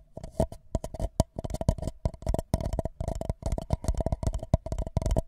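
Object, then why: Paper cup. A tall, empty white paper cup sits upside down over a microphone while both hands tap and scratch its sides with fingertips and nails. A rapid, uneven series of dull, hollow thumps with a deep low body and brief papery scratches follows, each hit dying almost instantly. A faint steady mid tone hums underneath the resonating cup.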